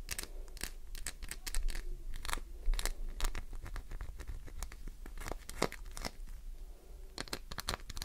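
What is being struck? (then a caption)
Glycerin soap bar. A solid green glycerin soap bar has its surface scratched hard by long nails, raising shavings. Quick, irregular scraping and crunching strokes with bright, crisp edges play over a low, steady rumble.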